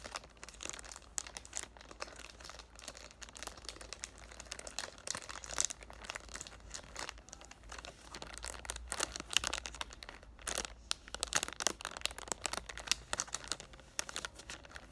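Both hands squeeze and crinkle the loose clear cellophane wrap of a cardboard "Thank U Next" perfume box with their fingertips. The result is a dense, bright, continuous crackle of many quick snaps over a faint low hum, getting somewhat louder and sharper in the second half.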